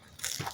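A concrete add-on with a cracking stucco facade, part of a ruined house in the desert, is struck and gives a short burst of bright, crunchy cracking with a brief low thud underneath. It sounds empty and hollow, which is probably why the structure is falling apart.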